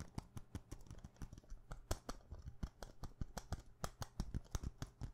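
A small clear glass perfume bottle with a glass stopper is held in the hand and tapped fast with long painted nails. The result is a rapid, uneven stream of short, dry clicks, each with a soft low knock and a bright tick on top, dying away almost instantly with no ringing.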